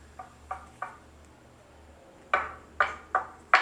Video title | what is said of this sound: Speaker Feature Keeper Series Pt 1: Wharfedale Diamond 12.1 - Build quality | these speakers sound incredibly solid. It's like knocking on a piece of granite